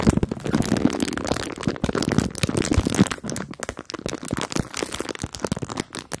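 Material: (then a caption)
Plastic. A clear plastic bag full of marshmallows is crinkled, squeezed and scratched with long nails. The sound is a dense run of soft crackling and crunching with short, sharp clicks. It is louder at first and thins into sparser, quieter crinkles toward the end.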